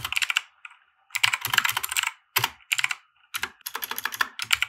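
A compact 60% mechanical keyboard with white plastic keycaps and RGB lighting, resting on a felt desk mat, is typed on with the fingertips of both hands. Quick bursts of bright, clacky keystrokes come in runs separated by short pauses, each click sharp and dry with almost no low end or ring.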